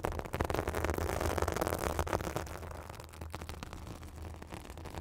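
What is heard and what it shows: Long acrylic nails scratch a white fibrous synthetic bath sponge held over a microphone, making a dense, fast scratchy rustle over a steady low rumble. The scratching is loudest and brightest in the first two seconds, then settles into a softer, quieter rasp.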